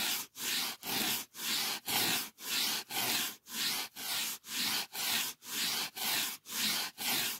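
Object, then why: Polyethylene foam sheet. A thick, solid, white closed-cell polyethylene packing foam sheet is held close and rubbed and scratched with fingertips and nails. About fifteen steady, evenly spaced strokes, roughly two per second, each give a bright, hissy scraping rasp with almost no low end, separated by brief silences.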